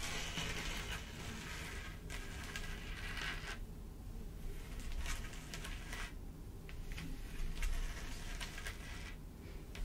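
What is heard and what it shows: Long pointed nails on both hands tap and scratch across a flat black mat covered in clear plastic rhinestones, with a raised cluster of larger studs in the center. A steady, quiet stream of crackly scratching is broken by bright, sharp clicks, all over a low background rumble.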